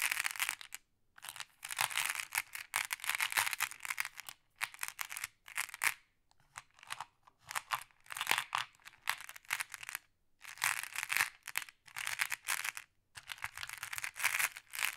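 A thin wooden or bamboo stick stirs and taps a pile of small, solid, flat glass pebbles in many colours resting in a round wooden tray. Bright, clacking glass-on-glass clatter comes in bursts separated by short silent pauses.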